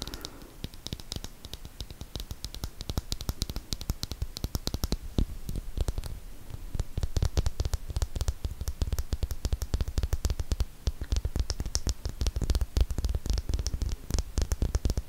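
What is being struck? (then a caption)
Small glass nail polish bottle with plastic cap. Long painted nails rapidly tap and scratch a small glass Essie nail polish bottle with a white plastic cap, filled with dark purple polish and held in both hands close to the microphone. A dense stream of short, dry clicks and scraping ticks sounds heavy and thumpy up close, with brief bright edges on each tap. The tapping grows busier and louder after the midpoint.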